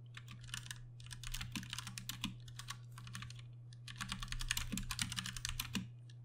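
Both hands type with fingertips on a Ducky One 2 Mini, a 60% mechanical keyboard with Cherry MX Brown switches and plastic keycaps. Rapid, irregular bright clacks come in two bursts separated by a brief pause, over a steady low hum.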